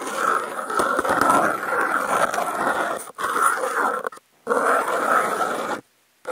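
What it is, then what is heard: Corrugated cardboard scraped with toothpicks. Wooden toothpicks held in the fingertips scrape and scratch across a brown corrugated cardboard panel with contact mics clipped to its edge. The result is a continuous dry, gritty scratching with a strong mid-range rasp, broken by two brief silences before it resumes and then stops.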